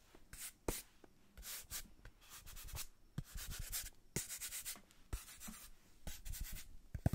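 A small brown kraft cardboard box held in hands is tapped and scratched with long nails on its faces. Quiet bursts of bright, papery scratching alternate with short, dry taps that stop almost instantly. The close, soft rustle has a light thumping low end under it.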